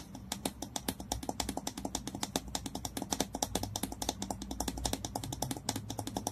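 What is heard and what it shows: Fingernails tap and scratch fast at the neck of a hollow, dark green Basso glass bottle with a ridged screw cap, lying on its side near the cap while the other hand holds it. A rapid, uneven stream of short, dry clicks with bright high edges dies away almost instantly, over a soft low rumble and faint scratchy texture.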